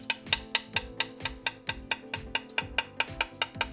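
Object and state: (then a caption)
Solid (uncracked) carbon bike frame. A coin taps the intact part of a carbon fiber bicycle frame 17 times in a steady rhythm, away from a cracked area. Each tap is a short, bright, high-pitched click with almost no ring. The frame sounds solid there.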